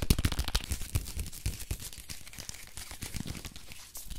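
Fingernails scratch and crinkle the printed paper wrapping of a small, solid soap bar as it is turned in the hands. Dense, crackly rustling and quick scratchy ticks with soft low thumps are loudest in the first second, then settle into a steadier, quieter crinkle.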